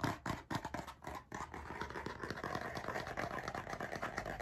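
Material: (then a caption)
Cardboard. A blue cardboard-covered spiral-bound hardcover notebook is held close to the microphone while its cover is scratched with nails and tapped with fingertips. Quick, uneven bursts of dry scratching and soft taps run continuously at about four per second, with short decays and a low thump underneath.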